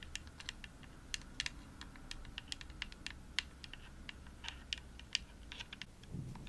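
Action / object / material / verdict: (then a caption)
tap / plastic game controller shell tapped with fingernails / plastic / none. Long nails tap repeatedly on the shell of a hollow, pink glossy plastic Xbox controller. The result is a quiet, steady patter of 27 short, dry, bright clicks over a low background hum.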